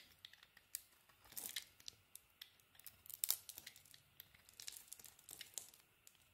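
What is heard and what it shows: A solid bar of soap with a dark green coating and a white interior is held in the hand and shaved and carved with a metal utility-knife blade. Quiet, crisp scraping and crackling strokes come at an irregular pace, with bright, thin shavings flaking off and almost no low end.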